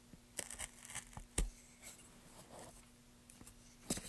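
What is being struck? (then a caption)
Pale wooden plank worked with a chisel. A wooden-handled carving chisel scrapes and cuts grooves along drawn letters on a solid, pale wooden plank. Short, sharp scratching and gouging strokes with bright, crisp edges come one after another, separated by quieter scraping, with a low steady hum underneath.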